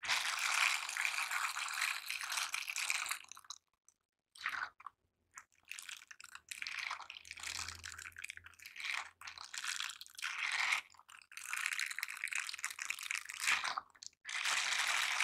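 Gloved hands wearing bristled silicone scrubber dish gloves grip and rub the bristle surfaces together. The result is bursts of dense, bright, crackling scratchy rubbing, separated by brief silent pauses, with almost no low end.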